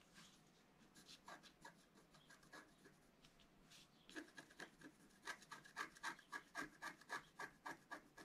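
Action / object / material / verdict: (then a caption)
scrape / coated scratch-art paper scraped with a pointed wooden stylus / coated paper / none. A pointed wooden stylus, held in the fingertips while the other hand steadies it, scratches a thin sheet of coated scratch-art paper about A4 in size lying flat on a white table. Faint, scattered scratching gives way after about four seconds to louder, rapid back-and-forth strokes, each with a bright, squeaky rasp.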